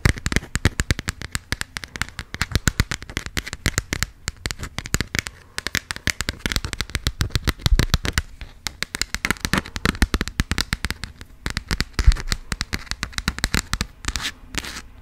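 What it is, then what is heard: Passport cover tapped with nails. Long acrylic nails tap and scratch fast on the textured, coated cover of a small, closed burgundy passport booklet. Dense, rapid clicks and crackly scrapes run almost nonstop, each tick short and dry with a soft low thud under a bright edge. The bursts pause briefly a few times and thin out near the end.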